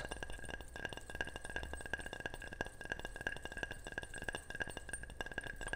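Rapid, repeated tapping on a ceramic object makes short, bright chinks and clinks, each dying away almost at once over a faint low hum. The taps come in a quick, steady stream, with a clear ringing tone around 1.6 kHz.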